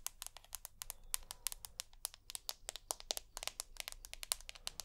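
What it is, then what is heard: Glass-backed smartphone tapped with fingernails. Long natural nails tap and scratch close to the mic on a hand-sized, solid rose gold iPhone with a glass back and an aluminium frame. The result is a rapid, irregular run of sharp, bright clicks that stop almost instantly, over faint scratchy texture and a low background hum.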